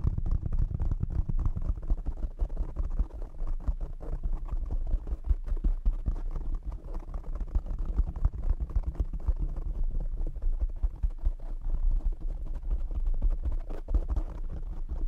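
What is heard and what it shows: Fingertips and short nails tap on the top and sides of a black foam windscreen on a condenser microphone. The result is a dense, continuous run of muffled low thumps and rustling scratches, with almost all the energy in deep, boomy low frequencies and little brightness.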